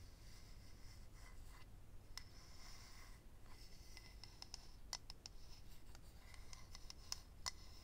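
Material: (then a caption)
Acrylic. Fingernails scratch and tap the surface of a small, hollow, rectangular clear acrylic eyelash case holding rows of lash strips. Soft, steady scratching is broken by sharp, bright clicks and taps that cut off almost at once, over a low background hum.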